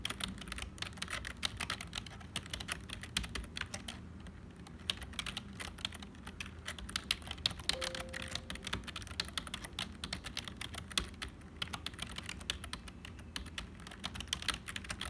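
Fingertips of both hands type continuously on a black HP plastic membrane keyboard with hollow keys. A dense, steady stream of quick, bright plastic clicks and taps, each dying away almost instantly, with a low soft thud beneath the keystrokes.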